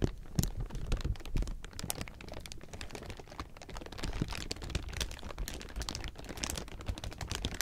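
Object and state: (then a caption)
Thin clear plastic sheeting being crumpled. Both hands and fingertips crumple and squeeze a large loose pile of thin clear plastic film, giving a dense, continuous crinkling. Sharp, bright crackles snap over a low, rustling body throughout the clip with no pause.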